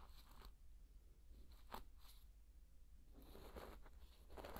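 A thin wooden stick stirs and scrapes through dry pearl barley grains, giving soft crunchy, crackling rustles. The grainy scraping comes in short bursts and grows busier and louder near the end, over a steady low hum.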